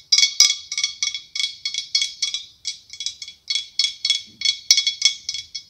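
Long acrylic nails tap a larger hollow, ribbed, white blown-glass pumpkin with a curly clear glass stem. The irregular run of about 23 quick, bright clicking taps each rings only briefly, with a high glassy tone and no low end.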